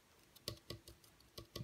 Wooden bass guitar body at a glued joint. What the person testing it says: you can hear it's hollow there, there's a bit of glue missing.